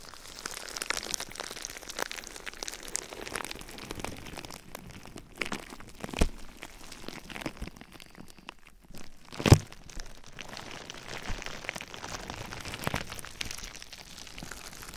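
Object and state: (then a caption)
Plastic bubble wrap. A clear plastic bubble wrap sheet, wrapped over a binaural ear microphone, is squeezed and scratched with fingertips and nails, making a steady, irregular stream of close crinkling, crunching and scratching. Sharper cracks stand out around 6 and 9.5 seconds, the second being the loudest.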